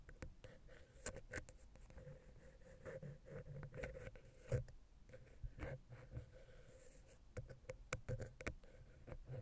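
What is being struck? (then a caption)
Metal microphone head and wooden ear pick. A vertical wooden ear pick scratches between the capsules of a silver metal X/Y microphone head on a Zoom H6. Close, dry scratching and rubbing are broken by many sharp, quick clicks and taps over a low, boomy rumble and a faint steady mid-pitched tone.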